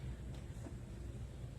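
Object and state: Nothing is struck.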